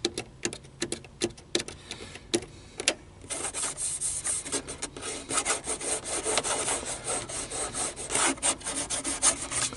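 Fingers tap and scratch over the buttons of a black plastic car stereo control panel. Sharp, dry clicking taps come first. Then a steady, bright rubbing scratch carries on with quick rhythmic strokes to the end.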